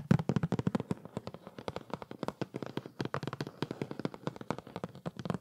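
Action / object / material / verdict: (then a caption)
tap / cardboard box / cardboard / none. A flat printed cardboard product box for a decorative LED tree is held close and tapped and scratched with the fingertips. The result is a rapid, steady stream of dry, dull taps with very little ring, mostly low in tone with faint scratchy texture between them.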